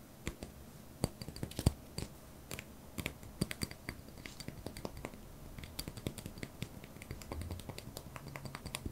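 A small white solid wax pillar candle, held in one hand, is tapped and scratched with the fingertips and short nails of the other hand. The result is a quiet, irregular run of dry, short clicks and taps with soft scratching between them.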